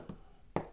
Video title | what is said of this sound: How To Fix Paint Flaking And Peeling From Bedroom Ceiling | everybody knows what a hollow sound sounds like. Like, you know, there's some sounds of emptiness right there.